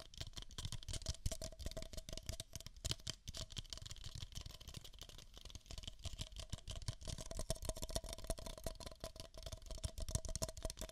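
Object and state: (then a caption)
Paper cups tapped. Two identical empty beige paper cups, hollow, are tapped with fingertips and nails over the microphone ears. Rapid, dense tapping produces soft low thuds mixed with bright, crisp clicks from the nails, with a faint hollow tone running through. Each tap dies away almost instantly, keeping the sound dry and steady throughout.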